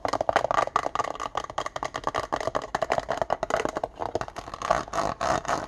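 Fingertips and nails tap fast on the clear plastic base and the inside of the white plastic lid of an open, empty index card box resting on a wooden desk. A rapid, dense run of short, hollow plastic clicks rings with a mid-pitched tone, with bright clatter on top. Toward the end the taps blur into a busier, rattling patter.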